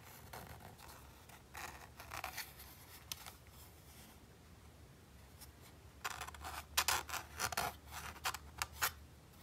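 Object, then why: Textured plastic game controller grip. A fingertip and fingernail scratch and rub the white textured plastic grip of a hollow PlayStation 5 DualSense controller. Short, bright, dry scraping bursts come in irregular clusters: softer at first, then louder and denser near the end. A faint low hum runs steadily underneath.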